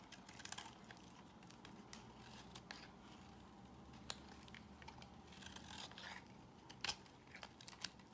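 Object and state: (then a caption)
Bar soap being shaved. A solid peach-colored bar of soap held in the hand is shaved with a box cutter blade. A steady, quiet scraping hiss carries bright, crisp crackles and sharp little snaps, with a few louder clicks near the start, middle and end as the blade bites through.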